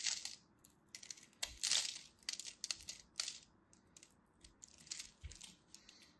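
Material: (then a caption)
Soap. Fingers with long nails hold a solid purple-and-white striped dry soap bar while a craft blade scores it in a grid and flakes chips off. Bright, dry scratches and crisp crumbly crunches come in irregular bursts, with quiet gaps between strokes and almost no low end.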